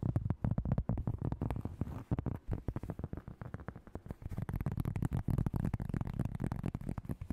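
Long nails tap and scratch quickly across the surface of a round, flat, plate-sized disc of solid cork. Dozens of fast, chaotic taps sound dull and low, with short dry attacks, almost no ring and no bright edge.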